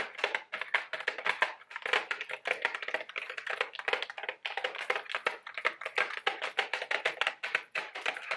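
A small, apparently full Mike and Ike Buttered Popcorn candy box of printed cardboard is held in both hands and rapidly tapped with long, sharp orange acrylic nails. The result is a dense, irregular run of crisp, dry clicks and taps, centered in the mids around 2 kHz with some bright top and no low end. Each tap dies away almost instantly.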